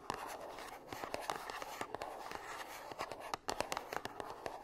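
Long nails scratch and tap across the surfaces of a small, gold-printed cardboard perfume box that is closed and held upright. A steady, dry, papery scratching runs underneath a quick series of crisp, hollow taps centered in the midrange. Each tap stops dead with no ring, and the overall level stays quiet.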